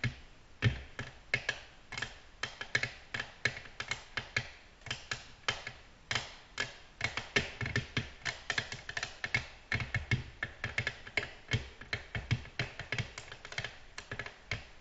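Long natural fingernails on both hands tap the flat, glossy surface of a black glass tabletop in slower, distinct taps. A steady series of short, dry clicks with a bright, crisp edge and almost no ring is heard, each tap dying away almost instantly.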